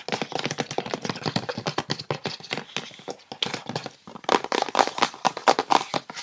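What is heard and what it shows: Long red-painted nails and fingertips tap and scratch quickly on the compartments of a hollow clear plastic insert tray inside an open, empty white cardboard gift box resting on a red patterned base. Rapid, uneven clicky taps with bright scratchy edges and almost no ring run throughout, with a brief lull around four seconds before the tapping returns louder.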